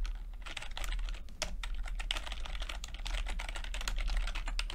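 Fingertips type steadily on a plastic backlit chiclet computer keyboard with plastic keycaps. The result is a rapid, continuous run of soft, bright clicks and taps over a constant low hum.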